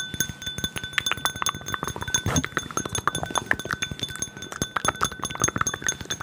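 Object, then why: Empty glass tumbler. A small, clear, empty drinking glass tumbler is held in the hands and rapidly tapped and rubbed with fingertips and nails close to the mic. A fast, dense stream of short, bright clicks and clinks is heard, each dying away almost instantly, with a faint ringing tone near 1.75 kHz running underneath.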